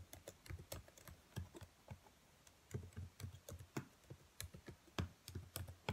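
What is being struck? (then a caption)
Plastic laptop keyboard keys. Long white nails tap irregularly on the black plastic keys of a laptop keyboard, making about nineteen quiet, short clicks. Each tap has a soft, low thud with a bright tick on top and dies away almost at once. A faint background noise may sit underneath.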